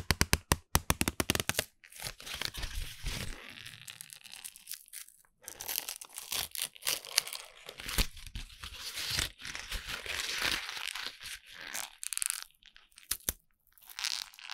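A written-on lined paper sheet is twisted and crumpled tightly in both hands in front of a microphone. Sharp, bright crackles open the clip, then give way to dense, crunching crinkles and tearing-like rustles that pause briefly now and then.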